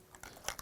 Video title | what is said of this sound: Candy Color Theory - Dirt Track Brown | give it a good shake and I hear that rattling ball in there that means it's it's mixing